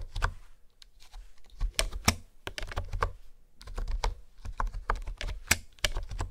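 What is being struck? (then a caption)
Plastic keyboard keys. Fingertips and nails tap rapidly across a hollow pink plastic keyboard with hexagonal honeycomb keycaps resting on a wooden table. Each keystroke is a short, dry clack with a hollow low thump and a bright click that dies away almost instantly, in an uneven typing rhythm with brief pauses.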